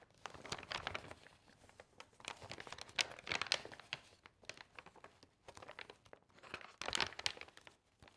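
Fingertips and long nails grab the edges of loose, thin, glossy magazine pages from a stack and turn them over one by one. Each turn makes a bright, crisp crinkle with sharp, high rustles and almost no low end. The bursts are separated by brief quiet gaps.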